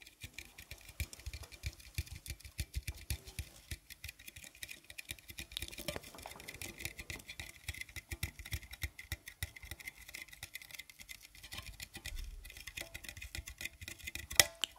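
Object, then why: Metal tea tin. Fingers tap and patter on a partly filled metal tin of Kusmi Tea Kashmir Tchai. The result is a quick, steady run of light, bright metallic ticks with very short ring, with one sharper, louder tap near the end.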